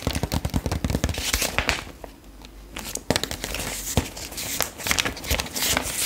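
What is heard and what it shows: Long acrylic nails tap and scratch the glossy black-and-white page of a retro paper fashion magazine held upright and open. Rapid, irregular sharp taps and crisp paper crackles are broken by a quieter, scratchy stretch in the middle before the tapping picks up again.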